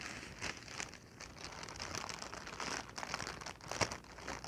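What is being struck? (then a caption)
Inflated plastic packing air pillow. A clear, inflated plastic air-cushion packing pillow, hollow and air-filled, is held in the hands and squeezed, crinkled and tapped with fingertips and long nails. The result is a steady stream of bright, crisp plastic crinkling broken by short, sharp tapping clicks, with one louder snap near the end.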